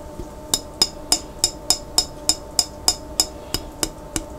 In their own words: Tapping On A Jar With Water